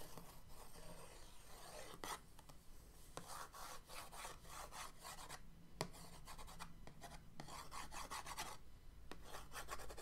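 The end and handle of an orange paintbrush are dragged across the lid of a printed cardboard paint-set box resting on a dark table. The result is a dry, rasping scratch-and-rub sound in repeated broadband strokes over a steady low hum, with a few sharp ticks along the way.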